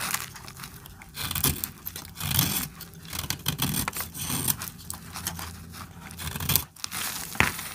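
A utility-knife blade cuts slices off a small, solid piece of dry orange soap held in the hand. The result is a series of dry, crisp scraping and crackling cuts with bright, papery texture and a faint low rumble underneath, each stroke swelling and fading quickly.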